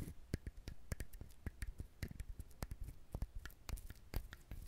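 Fingernails scratch and tap the rough surface of a whole, brown, fibrous dried husked coconut held in the hands close to the mic. A quick, uneven series of short, dull low knocks with crisp, bright clicks is heard over soft scratchy rustling. Each tap dies away almost instantly.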